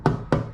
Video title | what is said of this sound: C4 Corvette Trivia Most People Never Notice | if you tap it, it's plastic. This is not a metal headlight.